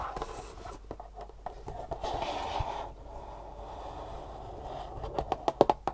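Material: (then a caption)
Cardboard. Long fingernails tap and scratch the flat faces and edges of a long, thin, hollow, printed green-and-black cardboard shoe insole box held in the hands. Soft, dry scratching and light tapping fill most of the clip, with a papery mid-range tone. It ends in a run of sharper, quick taps that sound hollow and die away almost instantly.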